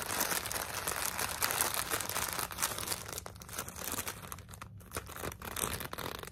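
A medium clear plastic zip-top bag full of cotton balls is held and squeezed in both hands, with long blue-tipped nails and fingertips rubbing the plastic, and the bag is opened at the top. A dense, bright crinkling and rustling runs steadily through the first three seconds, then becomes softer and more broken by short pauses before picking up again near the end.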